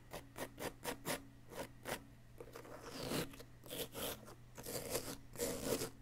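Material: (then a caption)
Plaster. A wooden chisel tool scratches and scrapes a solid yellow-green plaster dig-kit block. Short, dry scratching strokes come in quick succession, then give way to longer, gritty rasping scrapes with a bright, crumbly texture.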